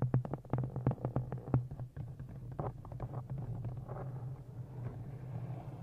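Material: Cloth and board.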